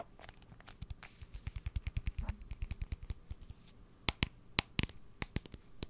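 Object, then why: Cardboard salt canister. A blue cardboard salt tube, held in front of the microphone, is tapped and scratched with fingernails. Rapid, dry taps land as dull low thuds with crisp bright clicks, over a faint scratchy rustle, and each stops almost instantly. Toward the end the taps grow sparser and sharper.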